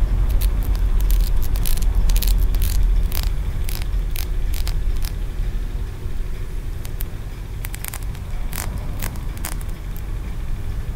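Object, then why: Small green aventurine stone pagoda. Fingertips and nails tap and scratch the ridges of a small, solid green aventurine stone pagoda, a feng shui piece held in the fingers. Quick, bright clicks and scratchy ticks come in uneven bursts over a steady low rumble that dips slightly partway through.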